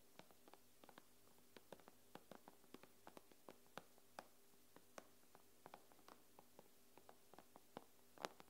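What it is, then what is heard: Nails tapping a tablet glass screen. Long nails tap on the glass screen of an iPad, giving about 27 quick, dry clicks at an uneven pace, each dying away almost instantly. A faint, steady low hum sits underneath, and the whole clip stays quiet.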